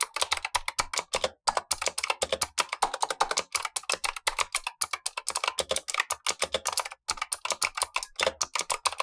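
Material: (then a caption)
Plastic. Gloved fingertips type continuously on a black tenkeyless Razer Huntsman V2 mechanical keyboard with clicky switches and plastic keycaps. Rapid, bright, sharp clicks follow one another with very short decay and brief pauses between bursts. A second keyboard above it sits idle.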